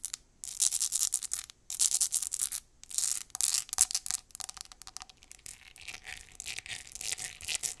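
Long acrylic nails scratch fast and hard along the ridges of a small, clear, hollow, empty ribbed glass jar. The result is bursts of bright, raspy scraping, separated by brief pauses, that turn into quicker, lighter strokes toward the end.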